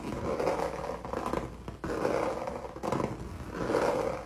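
Fingernails scratch quickly back and forth across a solid, flat, textured red canvas painted with acrylic. The rough scraping comes in sustained passes with brief dips between strokes. Its midrange rasp is centered around 500 Hz, with little deep bass.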